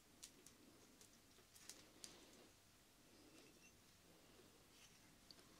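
Long black-painted nails tap a small, clear, hollow glass pitcher with a handle, held in both hands and partly filled with dark red liquid. About six quiet, bright, high clicks come at an uneven pace, each dying away quickly over a soft hiss.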